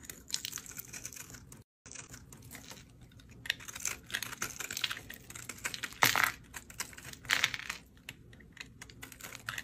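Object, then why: Soap bar scraped with a metal blade. A metal utility blade scrapes and slices thin crunchy layers off the surface of a solid, dried green soap bar held in the fingers. The result is a steady run of dry, crisp, bright scratching and crackling, with a brief gap of silence near the start. Louder crunchy bursts come around the six- and seven-second marks.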